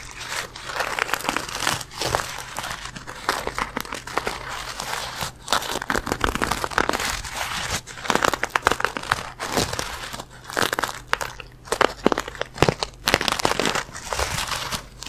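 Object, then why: Soft fabric pencil case holding pens. A small, soft black fabric pencil case, apparently holding pens, is held close to the microphone and squeezed and rubbed with the fingertips of both hands. The result is a steady, dense crinkling and scratchy rustling that swells and fades in uneven bursts, with sharp little crackles on top and a faint low hum underneath.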